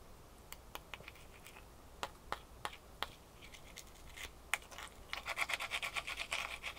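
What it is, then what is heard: Ice cube. A small solid ice cube is held in both hands and scratched with long fingernails. Quiet, bright, crisp scratches come first as scattered, uneven strokes. They then speed up into a rapid, steady run of scraping in the last couple of seconds.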